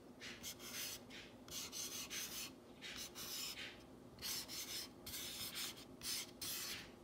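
Long fingernails trace, rub and scratch along the painted letters of a solid, whitewashed wooden plank sign reading "You make me happy." The result is a series of soft, bright, rasping strokes, each lasting under a second, in an uneven rhythm. There is almost no low end.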